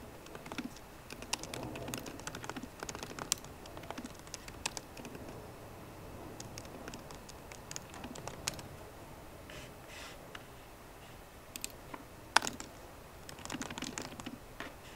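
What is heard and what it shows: Fingertips with short painted nails on both hands type rapidly on the low-profile black plastic keyboard of a 13-inch MacBook Pro, its grey aluminium body resting on a wooden desk. Quiet, sharp, bright key taps come in quick bursts with brief pauses, each click dying away almost instantly.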